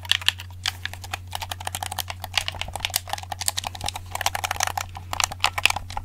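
Fingertips press and tap the buttons and shell of a hollow black handheld plastic game controller held in both hands. The result is a quick, irregular run of short, bright plastic clicks and taps that die away almost instantly, over a steady low hum.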